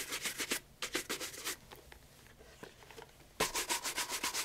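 A brown leather loafer fitted with a wooden shoe tree is held in one hand and brushed briskly across the upper with a wooden-backed bristle shoe brush. Quick, bright, scratchy strokes come in rapid bursts, fade to a near-silent pause with a few faint swipes, then resume loudly with a faint steady tone underneath.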